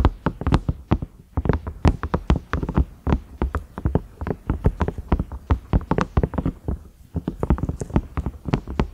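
Fingernails tap and scratch the round knob and concentric ridges of a large cream ridged microwave lid, likely silicone. Dozens of quick, dry taps come in uneven bursts, each a soft low thud with a brief click on top that dies away almost instantly, with faint scratchy rustles between them.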